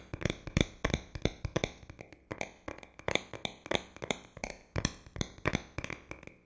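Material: Metal, glass.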